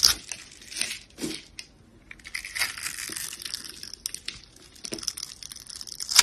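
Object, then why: Soap bar. A yellow box cutter blade scrapes across the scored surface of a solid, light green oval soap bar held in hand, shaving off thin slivers. Short, bright, crisp scraping and crunching bursts come in uneven clusters with quiet gaps between them, almost entirely high in tone with next to no low end.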